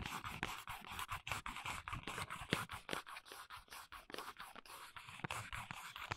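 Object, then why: Small paperboard box. Long nails scratch and tap on the printed back panel of a small, hollow paperboard box for press-on nails, heard close-up. A steady run of quick, dry, papery scratches and light hollow taps continues throughout, with a bright rasp over a soft low thump.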